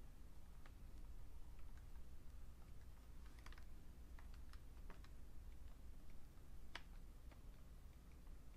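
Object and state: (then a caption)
Plastic computer keyboard being typed on. Fingertips type slowly on a vintage beige plastic full-size Fujitsu Siemens computer keyboard. Soft, short, scattered key clicks sit over a steady low hum, and the whole clip stays quiet.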